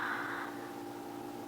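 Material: Nothing is struck.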